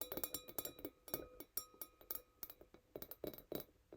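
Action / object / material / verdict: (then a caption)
tap / small glass wine glass / glass / none. A tiny wine glass is tapped quickly but gently with fingernails. The taps give a bright, clinking glass sound with sustained ringing tones, including steady pitches around 500 Hz and 1.2 kHz. The strip shows about 17 separate taps.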